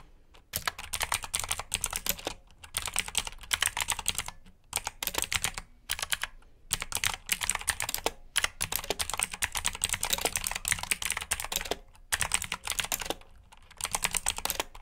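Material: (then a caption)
Plastic. Fingertips type on the keycaps of a black plastic mechanical keyboard with blue switches. Rapid, bright, crisp clicks come in bursts of typing separated by brief pauses, with very short ring and little low end.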